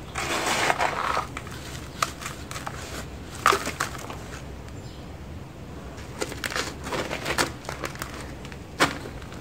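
Bare fingertips and palms rub, press and crumble the surface of a large mound of dry, gritty grey sand and soil packed in a white plastic bucket, letting loose sand fall back onto the mound. The sound is a steady, grainy rustle punctuated by sharp, bright crackling crunches as the surface breaks apart.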